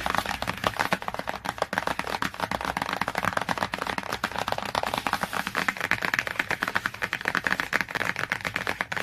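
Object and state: Glossy hardcover book cover.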